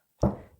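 A knuckle knocks once on a tabletop, imitating a ghost said to tap his ring on a store countertop. The single dull, low thunk has a faint bright click at the onset and fades out within about half a second.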